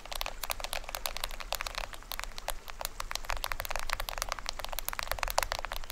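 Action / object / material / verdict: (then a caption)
tap / plastic film head of a small toy drum / plastic film / none. Fingertips and nails rapidly tap and scratch the printed plastic film head of a small hollow toy drum with a green rim. The result is a dense stream of dry, bright clicks and crackly scrapes that cut off almost instantly, over a steady low hum.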